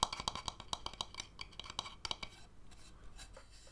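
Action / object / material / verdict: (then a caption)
tap / wooden bowl / wood / none. An empty, hollow wooden bowl is tapped and scratched with fingernails, first on its outer base and then on the inside and rim. A quick run of sharp, dry taps with a hollow ring near 1 kHz and bright clicky edges fills the first two seconds. It then gives way to quieter, softer scratching.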